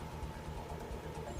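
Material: Nothing is struck.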